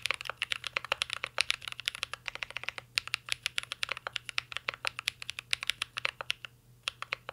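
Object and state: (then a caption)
Mechanical keyboard with plastic keycaps. Fingertips type steadily on a mint-green Cyberboard R3 mechanical keyboard with a metal case and plastic keycaps. The result is a fast, continuous stream of short, crisp, bright clacks with almost no low end. There is a brief pause near the end before the typing resumes.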